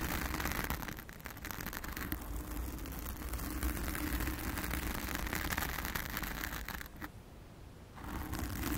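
Long acrylic nails scratch a blue foam cover on a round studio microphone, making a dense, continuous crackling scratch with heavy low rumble and a rapid, uneven rhythm. Near the end the hands lift away briefly, leaving a short quiet gap before the scratching resumes.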